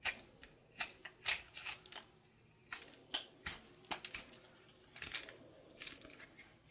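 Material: Soap.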